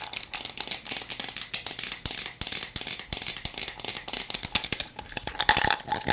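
A hand-sized hollow blue and red plastic toy cup with a clear bottom chamber of small beads is held in both hands while long nails rapidly tap and scratch the plastic. This makes quick, dry, bright clicks and scrapes over a steady rattle of beads. The sound is mostly high, with little low end and almost no ring after each tap.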